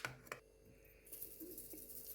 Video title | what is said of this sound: # पहा आज आपण काय बनवले # केळीचे, बटाट्या चे वेफर्स # महाराष्ट्र 🩸 | खणखणीत आवाज येतो बघा असा मस्तपैकी